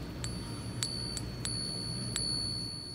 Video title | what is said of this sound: A FAKE GOLD BUFFALO HOW TO SPOT IT and How We Know for Sure! | you hear that nice ring like a bell